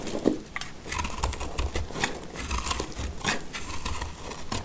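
A black utility knife blade carves shavings from a dry, solid white oval soap bar held in the hand. Repeated short, dry scraping and crinkling cuts sound with bright crisp edges over a soft low rumble, each stroke dying away almost at once.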